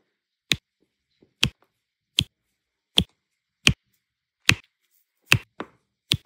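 A pink plastic multi-placer tool taps and presses small solid turquoise resin diamond-painting drills down onto an adhesive canvas. A series of short, dry, bright clicks sounds at a slow, uneven pace, each dying away almost instantly into silence.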